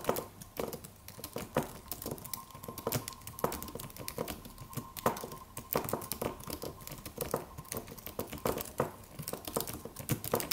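Both hands' fingertips type on a slim silver aluminum computer keyboard with white plastic keys and a solid low-profile body. The result is a quiet, steady stream of quick, dry clicks and taps that stop short, with some louder keystrokes standing out, over a faint steady tone near 1 kHz.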